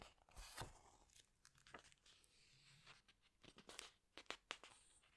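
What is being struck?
Glossy paper pages of a hardcover book.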